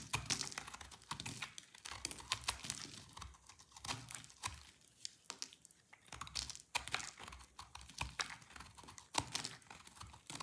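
A solid white and orange bar of dry soap is shaved and scraped with a utility knife blade. A steady run of quick, crisp, bright scrapes and crackly shaving ticks follows, each one dying away almost instantly, with very little low end.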